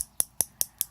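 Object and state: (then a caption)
Lip color bottle with a mixing ball inside. A bottle of alcohol-based liquid lip color is shaken, and the small mixing ball inside gives four quick, bright clicks evenly spaced about a fifth of a second apart. Each click is sharp with almost no ring, mostly high-pitched with little low end. The rattle of the ball mixing the color inside is normal, and the bottle is shaken before use.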